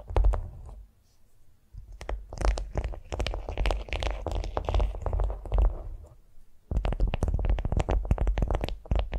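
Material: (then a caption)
Waxed cotton. Long nails tap and scratch a flat beeswax-coated cotton food wrap lying on a vinyl mat. Dense bursts of soft, crinkly taps and papery scratches come in quick succession, mostly low and muffled with brief brighter edges. The bursts break off for short quiet pauses before resuming.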